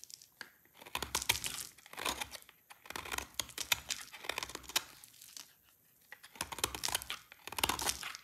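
A solid oval bar of dry white soap with a pale lilac tint is held in the hand and shaved with a snap-off utility blade. Bursts of crisp, bright scraping and crunching come in quick strokes, with short pauses between runs. Each cut is dry and short, with almost no ring after it.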